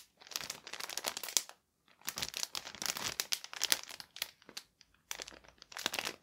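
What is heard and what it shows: Both hands grip a thin, clear plastic garment bag holding a folded purple fabric suit jacket and crinkle and rub the plastic with their fingertips. The result is dense, bright, crackling crinkles in quick bursts, with short silent gaps just before 2 seconds and around 5 seconds, and almost no low end.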